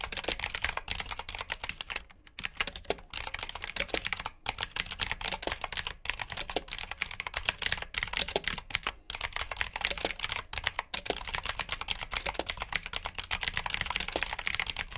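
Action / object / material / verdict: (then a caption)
tap / plastic mechanical keyboard / plastic / none. Two hands type quickly with their fingertips on a full-size black plastic mechanical keyboard with RGB backlit keycaps and clicky blue switches, resting on a brown surface. A steady stream of rapid, bright, sharp key clicks and taps carries on throughout, with only a few brief pauses. Each click is crisp and dies away almost instantly.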